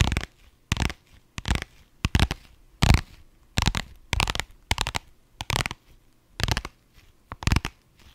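A small, soft, hollow pink holographic vinyl pouch, held up in both hands, is scratched with long nails across its glossy surface. The result is a series of short, irregular, crinkly scratching bursts, full and rumbly underneath with bright edges, separated by brief near-silent gaps.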